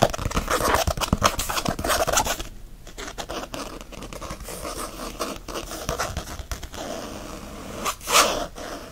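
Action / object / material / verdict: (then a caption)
scrape / faux leather planner cover / faux leather / none. Fingernails scratch fast across a faux leather planner cover while the planner is held by its edge. A dense, rapid rasping scrape fills the clip: loudest in the first two seconds, softer and steadier through the middle, then a brief louder bright burst near the end.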